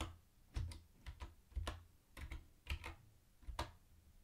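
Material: Plastic.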